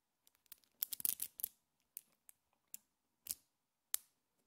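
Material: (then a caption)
Metal. A small cluster of colorful solid metal neodymium magnet balls held in both hands is pulled apart and snapped back together by fingertips and long painted nails. The result is a series of quiet, sharp, bright clicks that stop almost instantly, with a dense flurry near the start and then sparser single snaps.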